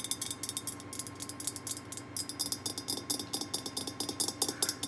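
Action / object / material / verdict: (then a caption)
tap / glazed ceramic candy jar lid / ceramic / none. Long painted nails tap on the top of the ceramic lid, near the black knob, of an orange glazed, hollow, pumpkin-shaped ceramic candy jar filled with wrapped candy bars. The result is a rapid, steady run of bright, crisp clicks that die away almost instantly, with a faint, steady hum underneath.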